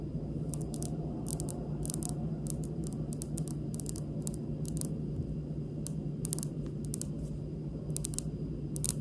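Long pink nails tap and drum on a large, solid, speckled granite kitchen countertop, making light, bright clicks in a slowish, uneven rhythm. The taps ride over a steady low hum that fills most of the sound.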